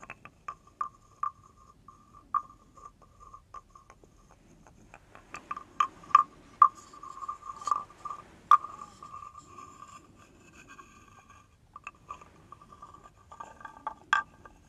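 A wooden stick is scraped along the ridged back of a hand-held carved wooden frog guiro. It makes short, dry, ratcheting rasps with a croak-like tone around 1.2 kHz, some isolated and others run together into longer clattering strokes, at a quiet level.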